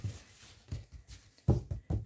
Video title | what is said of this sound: Préparation sur Pattern Keeper et première croix de ma broderie Luca S | Faut que ça sonne comme un tambour. Et quand ça sonne comme un tambour, c'est que votre toile est bien tendue.